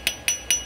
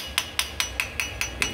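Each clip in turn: First: Three sharp, high hammer taps ring near 3 kHz on a steel patch welded into cast iron. Second: Seven quick, bright taps on a cast iron engine block, each dying out fast with only a faint ring.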